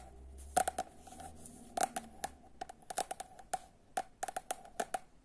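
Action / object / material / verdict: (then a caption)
tap / paperback book / paper / none. Long nails tap and scratch the cover and edge of a paperback book by Momo Kapor. The result is a series of short, dry, clicky taps with a bright edge, spaced irregularly across the clip. Softer scratching sounds appear between the taps.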